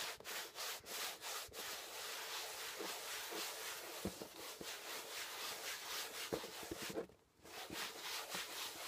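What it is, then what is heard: Cardboard box. A hand rubs flat across the top of a closed, labeled corrugated cardboard shipping box, then the fingers scratch at it. The result is a steady, bright, papery hiss of quick, uneven strokes with little low end and a brief pause near the seven-second mark.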